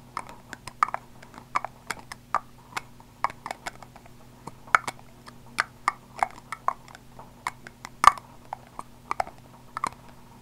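Fingertips and nails tap along the sides of a small purple body spray bottle, likely plastic, probably hollow and partly filled, held in one hand close to the microphone. About thirty short, dry clicks sound in an irregular rhythm, each centered in the midrange with a bright tick on top and almost no ring. A faint low hum runs steadily underneath.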